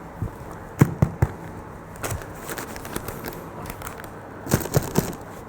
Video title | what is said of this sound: Baking Wholemeal Bread | you tap it on the bottom if it sounds Hollow it is